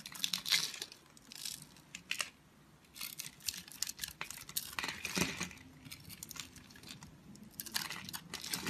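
A utility knife blade scores a grid into a solid multicolored oval bar of soap held in the hand and scrapes small cubes off its surface. The result is a quiet, irregular run of bright, crisp scratching and crumbly crunching bursts with short gaps between them.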